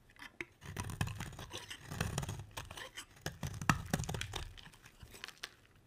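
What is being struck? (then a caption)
Round bar of soap cut with a metal blade. A metal utility blade carves a solid, dry, round red-striped soap bar, shaving off curls that break away. Quiet, continuous scraping and crunching come in uneven bursts with a soft low-end body and scattered sharp, bright clicks.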